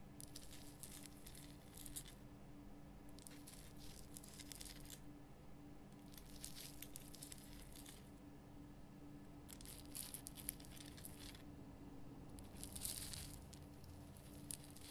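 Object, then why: Rock salt lamp. Long fingernails scratch the top of a large pink Himalayan rock salt lamp with a rough crystal surface. Repeated bursts of bright, gritty, crackling scratches alternate with short pauses, all at a low, quiet level. A steady low hum continues underneath throughout.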